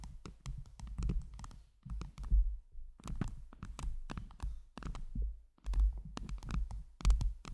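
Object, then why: Microphone head covered with acrylic heart gems. A round microphone head covered in blue acrylic heart gems is tapped and scratched by long jeweled nails on both hands. The result is a dense, irregular stream of soft, quick clicks and taps with short scratchy brushes, each with a deep low thump and barely any ring.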